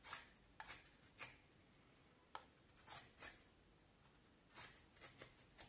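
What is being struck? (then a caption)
Vine wood stick carved with a knife. A knife carves and scrapes the shaped end of a solid, pale vine wood stick. Quiet, short, bright scraping strokes come in uneven bursts, separated by near-silent pauses, with little low end.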